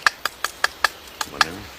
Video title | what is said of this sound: ancien métier charbonnier. | du sapin du résiné il n pas la même résonance